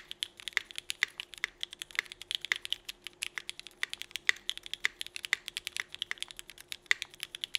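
A 65% mechanical keyboard with Cherry Vintage Black switches, an aluminum plate and red-and-black GMK Burgundy ABS plastic keycaps is typed on quickly with the fingertips of both hands. It produces a fast, steady stream of short, dry, bright clacks centered around 2 kHz with almost no low end. Each keystroke dies away instantly, with no ring.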